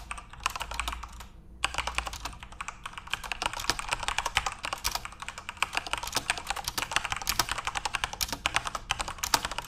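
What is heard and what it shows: Fingertips type continuously on a backlit plastic Corsair mechanical RGB keyboard, producing a dense stream of bright, sharp key clicks with short decays. A brief pause comes just before the two-second mark, then rapid typing resumes to the end.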